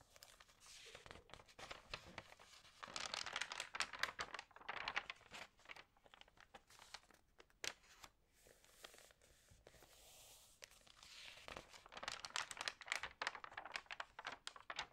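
Long nails and fingertips rub, crinkle and turn the dampened pages of an open glossy paper magazine lying flat on a table. Dense, bright crinkling and papery rustling comes in quiet bursts, with busier stretches around 3 to 5 seconds and 12 to 14 seconds and a softer, hissier lull near 10 seconds. The pages give crisp, dry crackles with almost no low end and no ring.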